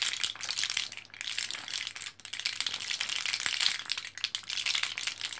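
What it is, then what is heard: Blister pack of capsules. An orange plastic and foil blister card of capsules, foil side shown, is held in both hands as fingertips press it, making the capsules rattle inside. A steady, bright, dense crackle of tiny clicks and crinkles runs throughout, with short dips in loudness.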